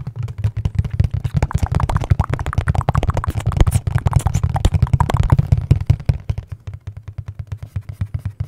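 A hollow, dark printed cardboard product box is held up and tapped with the fingertips. The result is a fast, irregular stream of dull, low, hollow thumps with almost no ring, densest in the middle and thinning to spaced taps at the end.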